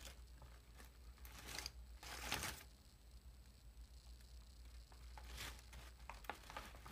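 A large, puffed, foil-lined metallized plastic chip bag is held up while hands slowly squeeze and crinkle its film and gold foil top seal. Soft, scattered crinkles and crackles give way to a louder, bright burst of rustling in the middle and another near the end, over a steady low hum.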